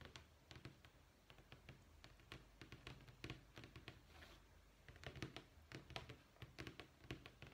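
Fingernails and fingertips tap a thin, solid white wood-grain vinyl flooring sample page in a sample book. The result is a quick, irregular patter of short, dry clicks and soft low thuds that die away almost instantly.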